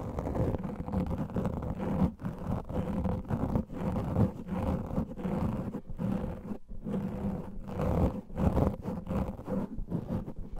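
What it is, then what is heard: Foam microphone windscreen being scratched. Fingernails of both hands quickly scratch a black microphone windscreen made of soft, porous foam. The result is a dense, continuous, muffled rumbling scrape that is mostly deep and low, with a faint steady hum in the low mids and brief dips in loudness throughout.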